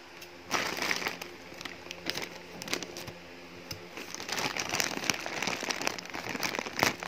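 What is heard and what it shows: Hands and fingertips crumple and handle a thin, hollow black polyethylene shipping mailer with a printed paper label and contents inside while opening it. Dense, bright crinkling and crackling sounds come in bursts: a loud flurry early on, quieter rustling in the middle, then busier crinkles building toward the end.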